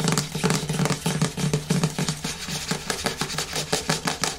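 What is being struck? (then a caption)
Plastic cosmetic jar with screw lid. Fingertips and long nails rub and scratch the top and sides of the screw lid on a medium yellow plastic hair-mask jar resting on a wooden table. Quick, irregular bursts of dry scratching and light tapping follow one another with very little ring.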